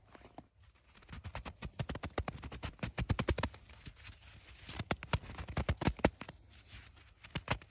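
A handful of fresh, loose powdery snow is scooped and squeezed between bare hands with long nails in an outdoor snow field, packing it into a clump. A rapid series of short, dry crunches rises and falls in bursts, with a low body and crisp bright edges, each crunch dying away almost instantly.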